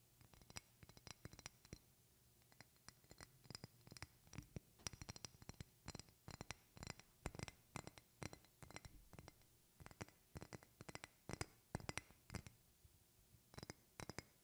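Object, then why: Glass perfume bottle. A medium rectangular glass perfume bottle with a silver cap is held in both hands and scratched and tapped with long painted fingernails. The result is a quiet, steady stream of short, dry clicks and scratches, some hard and some soft, with bright high glassy edges and a low hum underneath.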